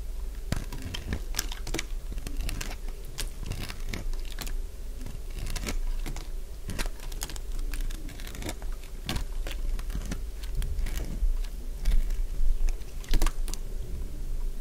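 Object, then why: Bar of soap cut with a blade. A solid, cream-coloured piece of dry bar soap is shaved with a utility blade, producing a long run of quick, dry, crunchy cuts in an irregular rhythm. Each sharp crackle is brief and bright, heard over a steady low hum.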